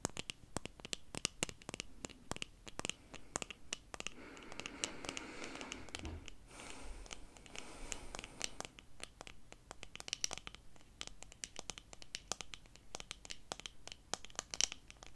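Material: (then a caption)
Plastic. Long pink nails scratch and tap on a small pair of eyeglasses with dark plastic frames and clear lenses, held in both hands close to the camera, working over both the frame and the lenses. Quick, crisp, bright clicks and taps come in rapid streams throughout. Around the middle they give way briefly to a steadier, fuller scratching rub before the fast tapping returns.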